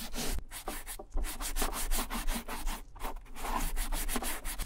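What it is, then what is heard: Leather satchel bag being rubbed. A gloved hand rubs the tan leather front pockets and side of a vintage satchel bag, making a steady run of soft, brushy friction strokes. The strokes are broadband and slightly uneven in rhythm, with brief gaps between passes.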